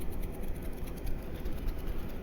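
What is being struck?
Nothing is struck.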